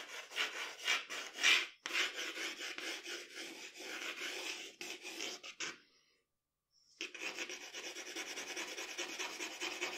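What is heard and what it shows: The graphite tip of a wooden pencil scratches and rubs across a flat sheet of drawing paper lying on a dark table while a portrait is sketched with shading strokes. Dense, bright, papery rasping strokes come about twice a second at an uneven pace. They stop for a brief silence around six seconds, then resume as a steadier, continuous scratching.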